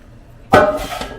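A freshly baked loaf of homemade bread, just turned out of its pan, is tapped once, giving a single short, hollow knock with a tonal ring near 600 Hz that fades within about a fifth of a second. The hollow sound is the usual sign that the bread is baked through, even though the thermometer had read only 165.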